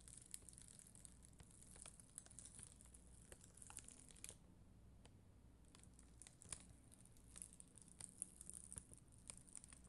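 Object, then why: Acrylic rhinestone sticker sheet. A black mascara spoolie, held by long green nails, scratches across a solid, flat sheet of red and clear acrylic rhinestone gem stickers. It makes a dense, bright, crackly scratching with sharp ticks, over a steady low hum, and the scratching briefly eases off near the middle before picking up again.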